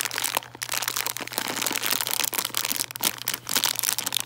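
A full plastic bag of chocolate Santas is held in both hands and crinkled and scratched with long nails. The result is a steady run of bright, crackly crinkling that swells and dips in uneven bursts, with a faint low hum underneath.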